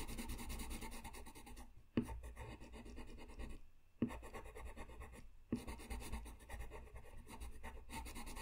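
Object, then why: Paper sheet and colored pencil. A colored pencil is rubbed across a flat white sheet of paper in short coloring strokes, making a soft, steady scratchy rasp. The sound stays continuous, with a few sharper accents where strokes start or change direction.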